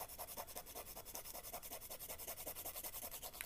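A small, flat, light-coloured emery board nail file is rubbed quickly back and forth across the fingernail tips, its grit surface filing the keratin. About 25 quiet, even, rasping strokes follow one another in a steady scratchy rhythm, with a bright, hissy edge on each pass.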